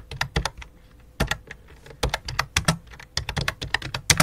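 Both hands type rapidly with fingertips and long dark nails on a full-size white and light-blue plastic computer keyboard resting on black cloth. The result is a run of short, sharp clicky key taps with a low thump beneath and bright tops, coming in quick irregular bursts with brief pauses between them.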